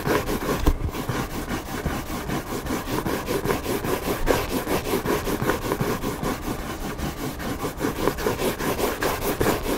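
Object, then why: Hardcover book cover. Fingertips and nails scratch the white back cover of a hardcover book lying flat on a table. A steady, dry scratching and rubbing sound repeats in quick, uneven strokes at an even level throughout.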